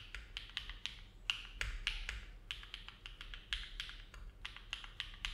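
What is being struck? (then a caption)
Mechanical keyboard with aluminum plate and plastic keycaps. Fingertips of both hands type steadily on a compact Neo70 mechanical keyboard with an aluminum plate, foam dampening and dark GMK plastic keycaps, resting on a desk mat. The keystrokes are short, crisp clacks that peak brightly around 2.8 kHz and die away almost at once, with a faint low hum underneath.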